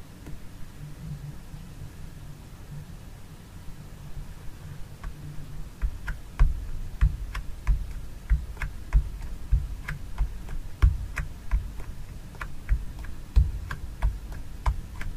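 A fingernail taps the lid of a small plastic jar filled with fragrance gel, standing on a mat. After about five seconds of low, steady background noise, a series of short, bright ticks begins and continues at an uneven pace to the end.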